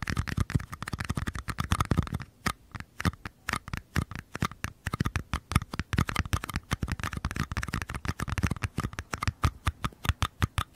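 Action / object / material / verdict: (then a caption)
tap / small paper cups / paper / none. Fingertips and nails tap and scratch the walls of two small, empty, hollow mini paper cups, one held on its side in each hand. The first two seconds are a dense, scratchy flurry of light taps. After that come dozens of quick, separate, dull low thuds with crisp clicky edges, each dying away almost instantly.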